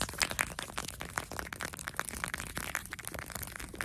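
Fingertips and nails tap and scratch quickly on a pink soft plastic lip balm squeeze tube held very close. The result is a quiet, rapid stream of dry, crackly clicks and bright scraping with little low end, each tap dying away almost instantly.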